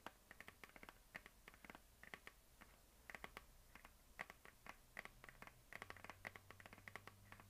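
Long dark nails of both hands tap and scratch across a medium hollow plastic map globe on a stand, giving dozens of quick, dry clicks. Each tap is short and bright with a hollow tone near 2 kHz, and scratchy brushing fills the gaps. The sound is soft, with a faint low hum underneath.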